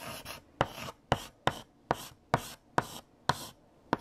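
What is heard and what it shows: A hand writes letters with a stick of pink chalk on a large flat black chalkboard. Nine sharp, bright taps of the chalk meeting the board are heard, each followed by a short dry scratching stroke across the surface, in an uneven rhythm.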